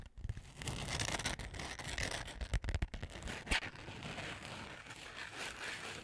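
Long nails scratch across the rose gold glitter cover of a flat, book-sized notebook held beside the mic. The result is a steady, gritty scraping with a low rumble underneath, broken by a few sharper, louder scrapes in the middle.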